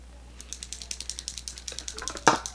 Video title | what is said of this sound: Full face of indie brand makeup! | You can hear you gotta shake it up. It has that little clicky noise.